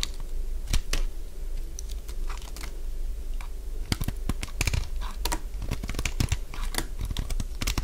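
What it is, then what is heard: Dry bar soap, crunchy when cut. A solid, cream-coloured bar of dry soap is held in the hand and carved with a metal blade, and crunchy shaving curls fall off. Short, dry, crisp crunches and scrapes come in irregular bursts over a steady low hum.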